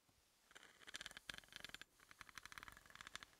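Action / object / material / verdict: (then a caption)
tap / threaded steel bolt tapped with a wooden pencil / steel / none. A wooden pencil tip taps rapidly along the threads of a large, solid, threaded steel hex bolt lying on a dark surface. The result is a quiet stream of light, dry, bright clicks with a metallic tick near 1.6 kHz and almost no low end, each dying out at once, with a brief pause in the middle.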